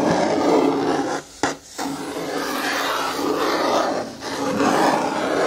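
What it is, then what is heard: Plastic bin scratched with fingernails. A long fingernail scratches the side wall and lid rim of a hollow, hard green plastic bin with a lid while the other hand rests on the lid. The result is a steady, dry rasping scrape with a faint low-mid tone. The scraping briefly drops out with a short sharp tick near 1.5 seconds and dips again around 4 seconds.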